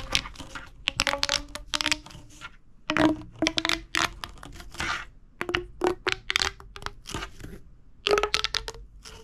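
A hollow, purple corrugated plastic pop tube toy is extended and then crunched in the hand with the fingertips. It gives dense bursts of bright, crackling plastic clicks and crunches, with a faint hollow tone ringing beneath. The clicks come in uneven clusters separated by short quiet gaps.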